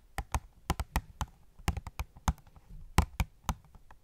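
Long nails tap about fifteen times on an opened cardboard phone case box with a plastic window holding a gold case. Each tap is a short, dry click with a soft low thump, quickly damped with almost no ring, at an irregular pace.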